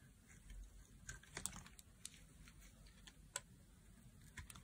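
A knife blade carves thin slices from a solid pink oval bar of dry soap held in the hand. Quiet, crisp little cuts and scrapes click and crackle in quick succession with a bright edge. Each one dies away almost instantly over a low background hush.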